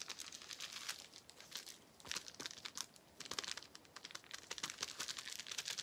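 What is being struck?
Plastic bubble wrap sheet.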